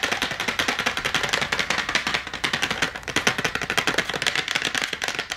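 Long nails tap fast on the cardboard backing of an AA battery blister pack, held with the cardboard facing up and the plastic blister of batteries below. The result is a rapid, steady stream of dry, bright clicks, each dying away almost instantly with almost no low end.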